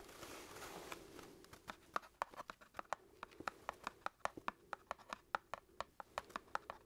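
A small closed cardboard matchbox of wooden matches is held flat in one hand while the other hand's fingertips scratch and tap its cardboard top. A soft, breathy scratching fills the first second or so. Then comes a quick, uneven run of sharp, dry little taps with a hollow, papery knock around 1.3 kHz, each dying away almost instantly at a quiet level.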